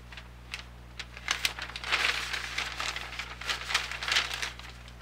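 A large, thin, glossy-printed newsprint weekly grocery flyer is held in both hands over a desk while its pages are turned and crinkled with fingertips and painted nails. Bright, crisp rustling and crinkling come in quick bursts that swell in the middle, over a faint steady low hum.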